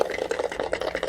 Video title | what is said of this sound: 5 января 2025 г. | actually shake the box. So can you hear something's inside it?